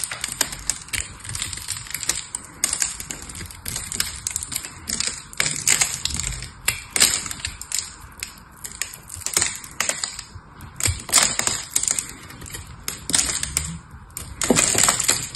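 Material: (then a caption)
Soap. A hand-held rectangular bar of dry solid soap, blue on the outside and pink inside, is carved and scraped with a small metal knife blade into crunchy flakes. Dense, crisp, bright crackling scrapes and crunches come in rapid bursts throughout, with little low end.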